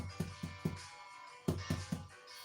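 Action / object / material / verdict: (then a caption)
tap / baked bread loaf in a loaf pan / bread / hollow. A freshly baked sardine bread loaf, still in its loaf pan, is tapped and gives off dull, low, hollow-sounding thuds that die away quickly. The hollow sound shows the loaf is baked through, as a skewer inserted into it had already come out clean.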